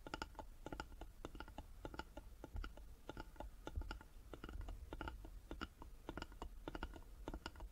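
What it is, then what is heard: Carved wooden box. Fingertips and nails tap rapidly on the sides of a small, closed, hollow carved wooden jewelry box resting on a table. The taps are quick, dry clicks with bright edges that die away almost instantly, over a steady low rumble.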